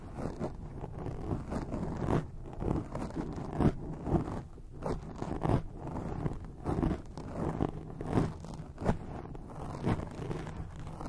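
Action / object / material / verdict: scrape / foam microphone windscreen / foam / none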